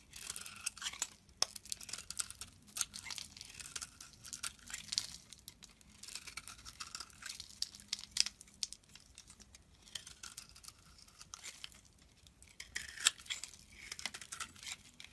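A metal utility knife blade scrapes and shaves a solid oval bar of pale green soap held in the palm, sending flakes falling. The result is a continuous run of crisp, bright scraping and crackling, swelling into denser bursts of shaving throughout.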